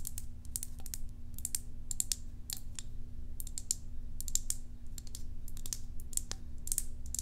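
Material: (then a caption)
Plastic. Long acrylic nails tap quickly on the side and lid of a small, hollow, cylindrical white plastic tub with a green label, held up with its lid on. The taps are many short, dry, bright clicks that stop at once, heard over a steady low hum.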